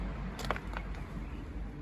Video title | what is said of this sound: Repairing a leaky front door step over a coal hole in a Victorian house | it sounds Hollow and I thought it was broken but it's not